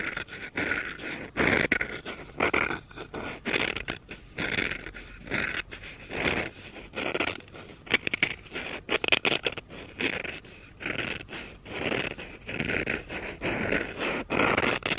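Red-painted fingernails scratch the handle and back of a solid wooden spoon lying on carpet. The result is a string of dry, bright scratching strokes in irregular bursts, each fading out almost at once.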